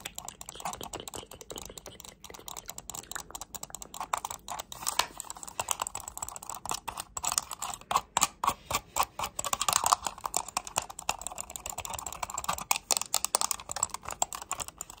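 A hollow black and grey plastic computer mouse has its buttons clicked and its shell tapped with long nails. The result is a steady stream of quick, dry, bright clicks and taps. There is almost no low end and the sound barely rings.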